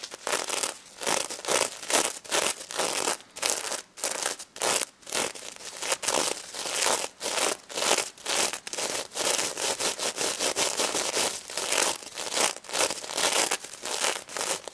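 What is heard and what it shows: Long red nails on both hands scratch across the face and body of a pink stuffed plush pig covered in sequin fabric. Quick, repeated bursts of bright, crackly rustling come with short gaps between them. There is almost no low end.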